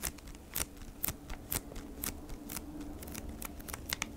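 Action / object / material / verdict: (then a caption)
tap / cardboard package in a crinkly plastic sleeve / plastic, cardboard / none. Long nails tap and scratch on a flat beeswax wrap pack, a cardboard package in a crinkly plastic sleeve held in both hands. Sharp, bright clicks recur about every half second over a steady low rustle and crinkle, each tap dying away almost instantly.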